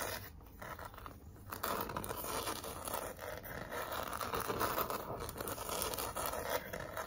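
Long nails and fingertips scratch and rub across a large, flat pink cardboard heart sign with glitter lettering. The result is a steady, dense scratching with a gritty, papery rasp centered in the midrange, fairly irregular in rhythm, with a quieter opening stretch before the rubbing grows fuller and louder.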